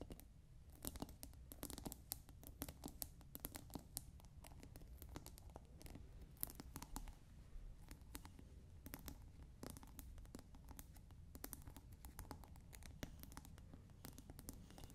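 Long nails scratch around the top and sides of a clear plastic scent pod cap on a clear glass bottle partly filled with water. Dense, rapid scratchy rasps and sharp, bright clicks continue steadily over a low, soft rumble.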